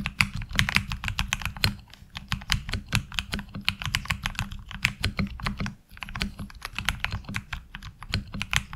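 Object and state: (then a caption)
Mechanical keyboard with ABS keycaps. Fingertips type steadily on a HyperX Alloy Origins Core mechanical keyboard with ABS keycaps, producing rapid, crisp, bright clicks with a low thump under each keystroke. The typing briefly slows around two seconds and pauses near six seconds before resuming at a steady pace.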